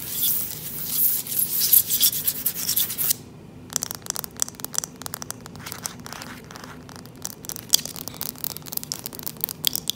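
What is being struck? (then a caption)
Wooden plank floor. Fingertips and long nails rub and scratch the boards of a solid, dark-stained wooden plank floor. A steady bright, hissy rubbing fills the first three seconds, then after a brief near-silence it gives way to many quick, crisp scratches and ticks that continue to the end.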